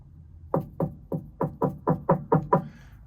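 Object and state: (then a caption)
Solid fiberglass boat floor. Nine sharp knocks on a boat's fiberglass floor, each a short, dry thud with low body and a woody midrange tap that dies away almost instantly. The floor sounds solid rather than compromised.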